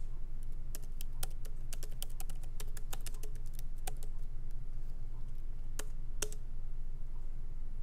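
Both hands tap lightly with their fingertips on the plastic keycaps of a MacBook Pro laptop keyboard set in its aluminum body, with the laptop resting on a wooden desk. Quick, irregular, bright clicks come at a fast typing pace over a steady low hum.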